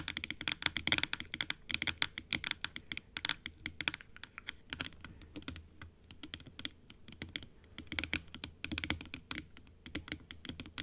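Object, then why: Plastic dental teeth model tapped with long nails. Long acrylic nails tap rapidly on the top and teeth of a large, hollow, closed plastic dental model (typodont) with pink gums, white teeth and a blue base and top. The taps are quick, dry, bright clicks that come in dense, uneven bursts with no ring, much like fast typing on a keyboard.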